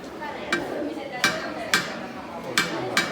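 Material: Steel.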